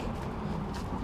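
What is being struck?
Nothing is struck.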